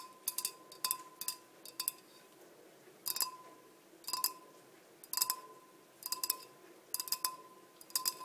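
Long nails tap the sides of a large, clear, empty glass blender jar with measurement markings on a black base. Bright, dry clicks come in quick irregular clusters, each dying almost at once, over a faint steady tone near 1 kHz and a quiet hiss.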